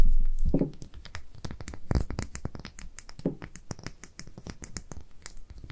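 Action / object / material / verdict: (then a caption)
tap / small glass dropper bottle with paper label / glass / none. A small amber glass dropper bottle with a paper label is held in both hands while long nails scratch the label and tap the glass. Quick, irregular bright clicks and taps mix with soft scratching and a few duller low thumps, fading from a louder start to a quieter, steady patter.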